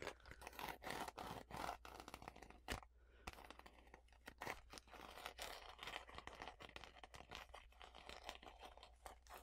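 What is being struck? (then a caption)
Paper-covered notebook. Long fingernails scratch and tap the blue floral paper or card cover of a notebook or journal with visible page edges. Dense, crunchy, papery scraping mixes with many quick, sharp taps, broken by a brief lull near three seconds. A steady low hum runs underneath throughout.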